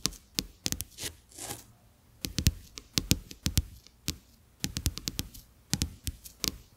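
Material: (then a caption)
Coated paper. Fingertips and short nails tap on two thin, flat, solid plastic-coated paper playing cards lying side by side on a dark textured surface, close to the microphone. The taps come as a quick, irregular series of sharp, bright clicks with a dull low thump underneath, each dying away almost at once, and a brief soft rustle rises between them early on.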